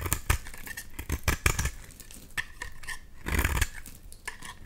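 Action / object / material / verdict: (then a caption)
scrape / bar of soap / soap / none. A box-cutter blade scrapes a solid bright green oval bar of soap, shaving off crumbly pieces. Repeated short, dry scraping strokes crackle brightly, each with a soft low thump and almost no ring-out.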